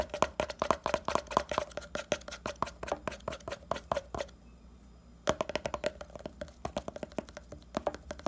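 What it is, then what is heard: Plastic pomade jar lid. Fingernails scratch fast across the printed lid of a small, round red hair pomade jar (70 g, likely plastic) held in the hand, making a rapid string of dry, clicky scrapes with a faint hollow ring around 600 Hz to 1 kHz. The scratching stops for about a second near the middle, then starts again with one sharp tap and continues at the same quick pace.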